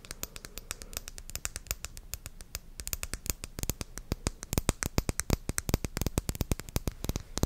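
A small dark blue glass cosmetic serum bottle with a silver metal cap is held in the hand and tapped and scratched with long dark-painted nails close to the microphone. The result is a rapid, steady stream of crisp, dry clicks and taps with almost no ring, over a faint scratchy hiss that grows louder and denser partway through.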